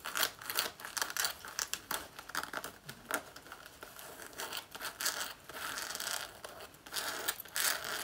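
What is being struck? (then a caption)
Faux leather jacket. Long nails scratch and claw at the lower front of a black faux leather jacket worn on the body, pulling at the front panel. Quick, bright scratching strokes with a crinkly, tearing texture come in uneven bursts, with little low end and almost no ring after each stroke.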